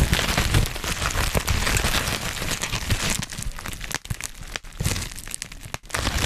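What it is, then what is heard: Plastic bubble wrap. Black plastic bubble wrap is held in both hands around the microphone while fingers pop the bubbles and crinkle the plastic. A dense, continuous crinkling with bright crackles and sharp pops runs throughout, with a heavy low rumble from the handling. It eases slightly in the second half, with brief quiet dips between bursts.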